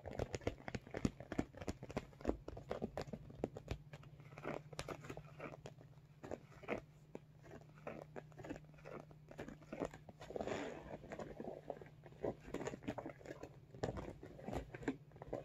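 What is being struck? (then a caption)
Soft vinyl cosmetic bag with zipper. Fingernails tap and scratch along the top zipper edge of a medium, soft-sided, iridescent holographic vinyl cosmetic bag. Quick, crisp clicks and crinkly scratches come in dense bursts with a few quieter stretches, over a steady low hum throughout.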